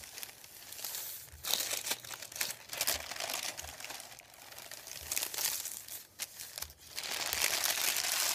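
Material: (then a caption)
Paper. Fingertips rub and crinkle a thin sheet of printed white paper resting on a wooden table. The sound is a quiet, bright, dry crackling that comes in irregular bursts with brief dips between them, and it stays almost entirely in the high range with barely any low end.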